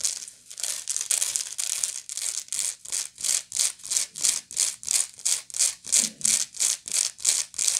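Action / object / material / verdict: scrape / woven straw bag / straw / none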